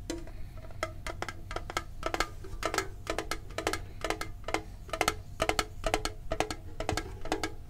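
A medium-sized hollow printed metal Pokemon card tin is held and tapped on its sides and lid with the fingertips and short nails. The result is quick runs of short, bright metallic clicks and taps that ring briefly around a mid pitch, over a low background rumble.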